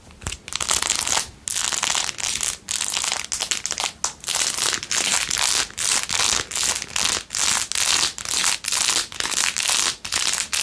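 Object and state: Rhinestone-covered plastic phone case.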